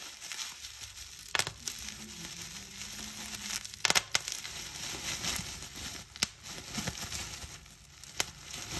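A small fold of clear plastic bubble wrap is pinched between fingertips and long nails, and its bubbles are popped one by one. Sharp, bright pops snap out over a steady, hissy crinkle of the plastic.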